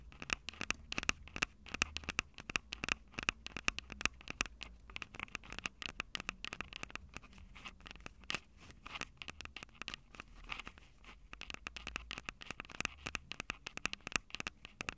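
Long acrylic nails rapidly scratch and tap the metal-grilled microphone capsules of a small, hollow Tascam DR-05 handheld recorder with a plastic body. Dense, sharp clicks and scratchy rustling run throughout, with a bright ring around 2.7 kHz and very little low end. Each tap dies away almost instantly.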